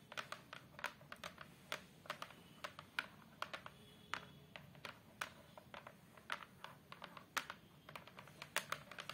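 Long acrylic nails tap and scratch across the back panel of a large photo frame, a flat brown fiberboard/hardboard sheet lying face down. A rapid, uneven run of sharp, dry clicks with very little ring is heard, with faint scratching between the taps.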